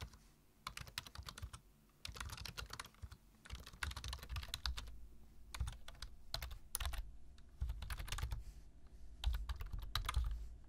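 Fingertips of both hands type continuously on a black plastic computer keyboard with low-profile keys. Bursts of quick, bright clicky taps come in clusters separated by short pauses, over a steady low hum.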